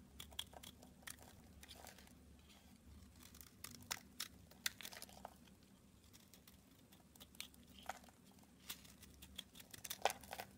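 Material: Soap.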